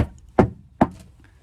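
Two knocks on a wood-paneled top corner of the master bedroom wall in a 1999 Wildwood 27RKSS RV, checked because those corners are the most common leak spots. Each knock is a short, dull thud that dies away quickly. The corner sounds solid, with no sign of a leak.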